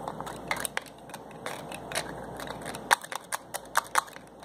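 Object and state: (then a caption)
Small glass bottle with plastic cap. Fingers twist and pull the white plastic cap and nozzle on a small glass bottle holding a yellowish liquid. The result is a quick, uneven run of short, dry clicks and crackles, some sharp and bright, over a faint steady hiss, with the loudest snaps coming near the end.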